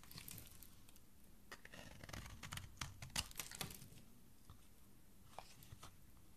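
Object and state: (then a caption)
Soap bar being carved. A flat metal blade scrapes and shaves the edge of a solid, thin, palm-sized pink soap bar, held by fingers with dark nails, over a pile of shavings. Quiet, dry, crisp scraping and crackling strokes come in irregular bursts with bright, short-lived rasps and a soft low rumble underneath.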